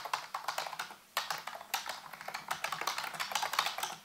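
Fingertips rapidly tap the hollow keys of a full-size black plastic computer keyboard resting on a white base. The clip is a quick run of light, clicky taps with a bright edge, each decaying fast, with a couple of louder strokes standing out in the steady typing rhythm.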